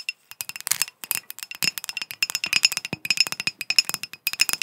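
A ribbed, textured green glass bottle or decanter, hand-sized, hollow and apparently empty, is held close and tapped and scratched with long acrylic nails. About thirty quick, dry clicks and clinks follow in a rapid, uneven run. They are bright and high with almost no low end, and each dies away almost instantly.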